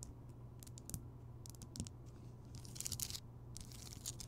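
Long nails scratch and tap across the rough surface of a large, rounded, solid Himalayan rock salt lamp, which is lit. The result is quiet, dry, bright scratching and crinkly ticks over a steady low hum, with louder clusters of rasping near the end.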